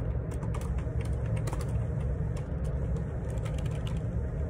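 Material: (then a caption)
Plastic. Fingertips type on the plastic keycaps of a black Perixx Periboard 612 wireless Bluetooth ergonomic split keyboard with a hollow plastic housing, lying on a grey laminate desk. Quick, bright key clicks and clacks scatter over a steady, heavy low rumble, possibly faint vehicle noise in the background.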